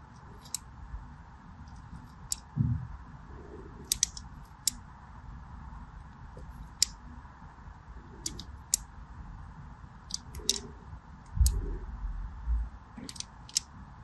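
A small black blade scores a crosshatch pattern into a solid purple and white striped bar of soap held in the hand. Each stroke gives a short, sharp, bright click or scrape that dies away at once. Soft low handling thumps and a steady faint hiss sit underneath.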